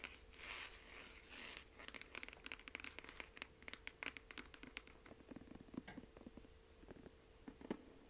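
Long nails scratch and then tap quickly on the hard cloth cover of a medium dark blue hardcover book, *Alcoholics Anonymous*, held upright in the hand. Soft, broadband scratching in the first moments gives way to a rapid series of dry, crisp clicks with almost no ring. Throughout, a faint steady tone hums underneath at a low overall level.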